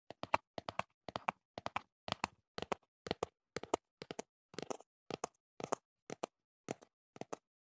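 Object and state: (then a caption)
Cardboard box. Fingertips tap the flat face of a small, hollow teal cardboard earplug box held up in a hand. Quick clusters of two or three dry, hollow taps repeat at a steady pace about every half second. Each tap is short and midrange, with almost no low end and no ring.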